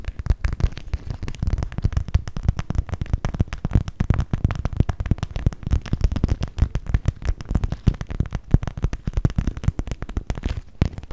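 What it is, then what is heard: Clear vinyl cosmetic pouch. Long pink nails tap and scratch the crinkly plastic surface of an empty, hollow, clear PVC cosmetic pouch made of transparent vinyl with pink trim, close to the mic. The result is a dense, continuous stream of quick, dry taps and crinkles with a deep, hollow thump in the low end, and each hit dies away almost instantly.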